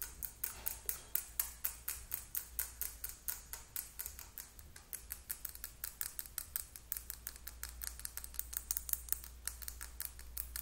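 A small, slim, hollow Sally Hansen plastic lip gloss tube with a pink/purple cap is held in both hands and tapped rapidly with long acrylic nails. The result is a quick, steady stream of dry, bright clicks with almost no ring, over a constant low hum.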